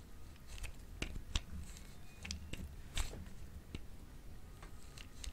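A solid, hand-sized, light-green bar of dry soap is scraped repeatedly against the metal blade of a grey-green plastic grater. Short, dry, crunchy scrapes with bright edges sound over a low, steady rumble, while soap curls pile up and fill the tool.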